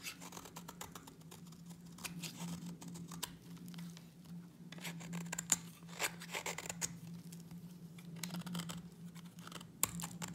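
A utility knife blade scrapes a solid white bar of dry soap, making a run of short, dry, bright scraping strokes with a few sharper clicks. A steady low hum sits underneath throughout.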